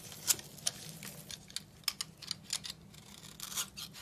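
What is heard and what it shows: A steel utility knife blade scrapes a dry, solid blue bar of soap held in the hand, sending crumbs falling. The sound is a quiet run of crisp, bright scraping crunches, each very short and sharp, over a faint low hum, with almost all the energy in the high range.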